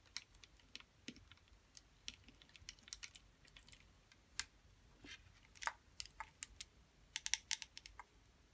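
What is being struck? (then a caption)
Small plastic putty container tapped with long acrylic nails. Long metallic acrylic nails tap and scratch a small, round, clear blue plastic putty container that is full of putty, with its lid on and still shrink-wrapped, held both on and above the table. The result is a quiet, irregular string of sharp, bright clicks with very short decay, like typing, over a soft faint scratching.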